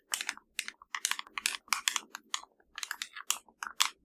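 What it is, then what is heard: Plastic TV remote control. Long nails tap and scratch the buttons of a hollow black plastic LG TV remote. Quick bursts of dry, bright clicks and scrapes come in uneven clusters separated by short silences. Each burst is crisp with almost no low end and dies away almost instantly.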